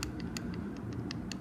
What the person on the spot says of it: the knocking that sounds like plastic doesn't sound like metal